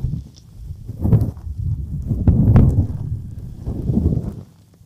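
Fingertips rub and tap the silicone ears of a dual-ear binaural microphone. The sound is a deep, muffled rumbling with swelling scrapes and a few sharper soft taps, mostly low, with almost no bright content.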